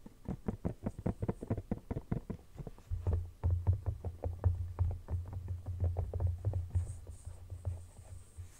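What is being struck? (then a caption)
Silicone phone case. Fingertips and nails tap, scratch and rub the matte back of a soft, thin, hollow red silicone phone case lying flat and empty. A quick run of dull, short, muffled taps fills the first three seconds. After that a low, throbbing rub rumbles underneath as softer taps continue to the end.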